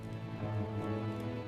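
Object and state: Nothing is struck.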